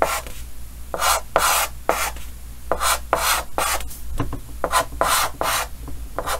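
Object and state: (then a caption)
Chalk drawing on a chalkboard. Yellow chalk held in the fingers draws repeated short scratching strokes across a large, flat, solid painted chalkboard with a green frame. Each stroke gives a bright, dry, rasping scrape, with brief pauses between strokes and a faint steady low hum underneath.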